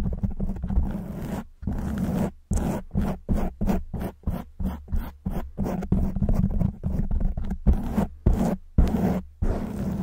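Long white almond-shaped nails on both hands scratch and rub a black foam microphone windscreen. The sound is a rapid series of short, rough scratching strokes with brief gaps between them. It is dominated by a deep, muffled low rumble.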